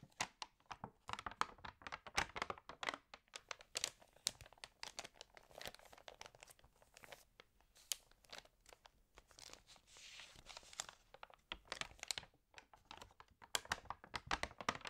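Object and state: Glossy paper magazine.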